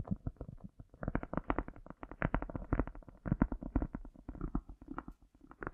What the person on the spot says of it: tapping and lightly scratching a cork with the echo effect in full power